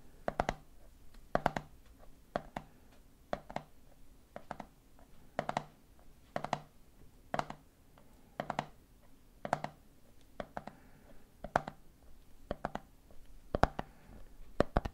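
Fingertips tap repeatedly in a rhythm on the red plastic lid of a medium clear plastic jar full of peanuts. The taps are short, dry plastic clicks with a low body, falling into loose clusters of three roughly every second.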